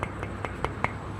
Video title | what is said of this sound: Big Art Loop - !crewmembernovember - San Francisco, CA | Not much. Very solid. Yeah, extremely solid.